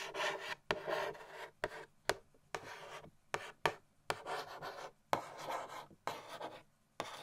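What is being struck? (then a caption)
Cardboard gift box lid. A long-nailed index finger scratches and traces across the printed surface of a medium-sized, hollow cardboard Christmas gift box lid with a snowman design. Dry, raspy scratching strokes come in short bursts, each usually opening with a sharp nail tick. The sound is quiet, centered in the midrange, with almost no low end.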